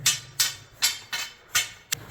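During a workplace inspection in an underground mine drift, the rock of the roof and walls is tapped six times while barring down. Each tap gives a sharp, bright crack with a short ring that fades quickly. The rock sounds solid, not loose, and nothing has moved.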